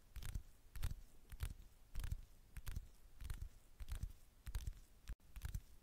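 Long manicured fingernails tap and scratch the gold metallic back of a flat, thin handheld smartphone held with its camera lens facing out. The result is a run of soft, close, low thuds, each topped with a brief bright click, falling in an irregular rhythm with no ring after each hit.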